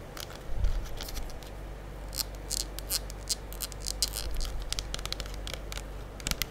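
Long acrylic nails tap and scratch the body of a full gold plastic liquid soap pump bottle held close to the mic. A rapid, uneven series of sharp, bright clicks and short scratchy scrapes sounds over a steady low hum.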